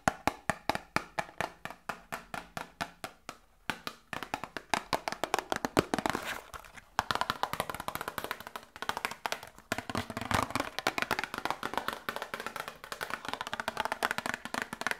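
A small hollow cardboard medicine box is held in the hands and tapped quickly with long nails. It makes a dense stream of short, dry, hollow ticks with a midrange tone, spaced at first and then speeding into rapid, overlapping flurries. Each tap dies away almost instantly, with little low end.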